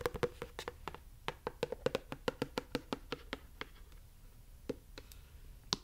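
Long yellow acrylic nails tap and rub the surface of a medium-sized, hollow white plastic conditioner bottle with a yellow cap, its fill level not visible. About twenty-two quick, sharp clicking taps ring out with a bright edge and almost no ring, over a faint rubbing hiss. The taps come fast through the first four seconds, then thin out to a few scattered clicks near the end.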